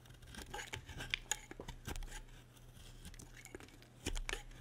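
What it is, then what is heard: Dry bar soap being carved. A solid, dry white bar of soap, held in a hand with long red nails, is carved with a metal utility blade. Short, crisp scraping and cutting strokes sound in quick succession, with bright, dry clicks and no ring, over a faint steady low hum.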